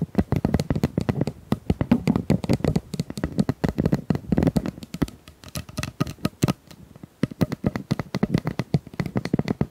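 Long nails tap and scratch across the ribbed surface of a hollow pink corrugated plastic pop tube about 25 cm long. Rapid, dense clusters of short, dry taps carry a hollow, low-heavy tone with no ring, easing briefly into sparser taps just past the middle before picking up again.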